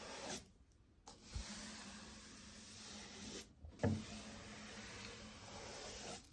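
A soft-bristle hand brush with a black handle sweeps in long strokes along a flat, solid oak-look stair tread (wood or wood laminate) with an aluminium edge strip, close to a white wall beside it. Steady, breathy bristle rustling fills the clip, broken by short silent gaps between strokes, with faint low bumps where the brush sets down.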